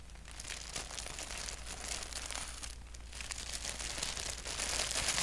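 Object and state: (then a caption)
Paper sheet being scratched and tapped. Fingertips and nails scratch and tap across the flat surface of a thin white paper sheet with a black doodle print. The result is a continuous, bright, crinkly rustle with quick papery taps over a faint low hum, growing gradually louder toward the end.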